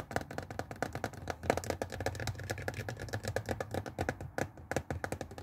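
Fingernails of both hands rapidly tap and scratch the hollow, glossy blue plastic water tank of a handheld Tefal garment steamer lying on its side on a wooden table. The result is a dense stream of quick, dry clicks and scrapes with a hollow, low-mid body and almost no ring.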